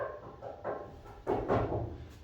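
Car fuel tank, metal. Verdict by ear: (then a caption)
Hollow. Knocks on the one-piece metal fuel tank of a 1968 Camaro SS, its underside wet from a leak, give a few dull, low, hollow thuds with no bright ring. The hollow sound shows the tank is empty: the car ran out of gas, and the fuel gauge still read zero after some gas was added.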